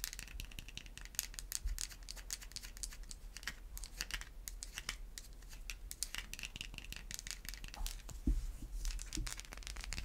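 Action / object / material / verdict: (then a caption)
scrape / bar of soap scratched with fingernails / soap / none. A solid white bar of soap is held close and scratched with long white acrylic nails, making a dense, dry crinkling scratch full of quick bright ticks over a steady low rumble. Near the end, a couple of duller, louder knocks stand out from the scratching.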